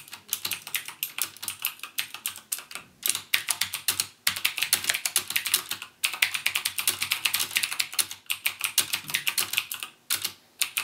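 Fingertips type on a backlit plastic mechanical keyboard with plastic keycaps and Cherry MX Blue switches, pressing keys half-way and then fully. The result is a steady stream of sharp, bright clicks that die away quickly, broken by brief pauses.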